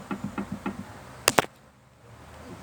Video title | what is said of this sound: Barulho na Suspensão traseira Peugeot 206 207 SW - Problema resolvido | esse aqui ele tá com a folga, ó. Então aqui ele faz o barulho